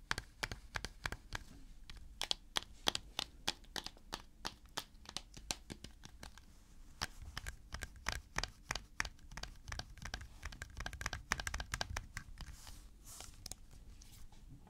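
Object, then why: Plastic jar with screw lid. A medium-sized white plastic jar labeled coconut cooking oil, with a blue plastic screw lid and apparently full of solid white oil, is held in one hand and tapped and gripped with the fingertips. A rapid, uneven series of short, dry clicks and taps with bright crinkling edges sounds over a low rumble. Each tap dies away instantly with no ring.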